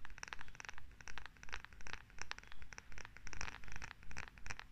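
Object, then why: Wooden massage tool. Long acrylic nails scratch a solid wooden massage tool with a rounded head and a handle, close to the mic. Quick, fairly steady strokes come in rhythmic swells, each a dry, bright, crackly scratch over a soft low rumble.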